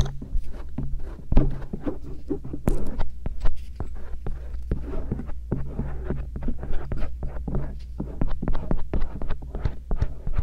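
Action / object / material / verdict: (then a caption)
scrape / silicone ear rubbed with a metal earpick / silicone / none. A thin rose-gold stainless steel earpick, held in the fingertips, scratches and rubs the outer ear of each soft silicone ear on a round binaural microphone. Rapid, dense, dry scraping ticks and rustles sit over a steady low hum. The sound is mostly low and thuddy, with brief bright crackles.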